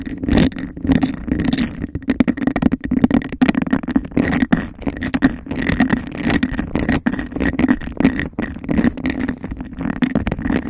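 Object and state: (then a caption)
Textured glass cup. Long nails tap and scratch fast on the sides of a hollow, empty, clear bubble-textured glass cup held over the mic. A dense, rapid stream of short clicks and scrapes carries a hollow, boomy resonance around 240 Hz, with a faint ringing tone near 2 kHz.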